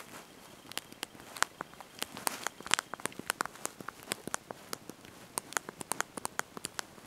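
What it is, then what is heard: Plastic phone keyboard keys being typed. Thumbs and fingertips press and tap the small backlit plastic keys of a handheld slide-out mobile phone's QWERTY keyboard while typing a message. About 28 quick, bright, dry clicks come at an uneven typing pace, each dying almost instantly over a quiet hiss, with a faint high tone in the first few seconds.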